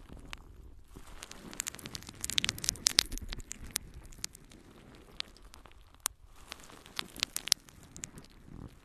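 A yellow, porous natural sea sponge is held in both hands and scratched and squeezed with long nails. This gives soft, bright crackling and rustling with sharp clicky ticks scattered throughout, busiest around the middle and again near the end.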